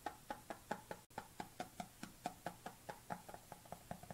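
Fingernails tap the lid edge and side of a white plastic supplement tub held tilted, while a black tub sits idle on the table. Nineteen short, hollow plastic clicks sound at an uneven pace, each with a mid-pitched tone near 840 Hz and a quick decay, with a brief silent gap just after the first second.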